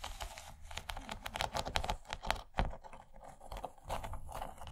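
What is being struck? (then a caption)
Rigid plastic tray with textured ridges. Long nails on both hands rapidly tap and scratch the textured ridges of an empty, rigid yellow plastic corn-shaped serving tray. The result is a dense run of dry, crisp clicks and scratchy rasps that stop quickly, with a hollow plastic tone and bright edges.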